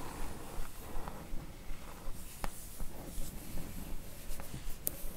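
Long nails scratch and tap the glossy top panel of a printed cardboard book box set slipcase full of books, held in the hands. Quiet, steady dry scratching repeats in a fairly even rhythm over a low background rumble. A few sharp, bright clicks from the taps stand out and die away almost instantly.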